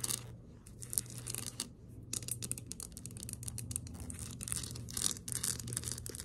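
Long acrylic nails on both hands tap and scratch a small snow globe, a liquid-filled glass dome on a white base, standing on a table. Bright, rapid clicks and scratchy bursts come in dense clusters with brief pauses, over a low steady hum.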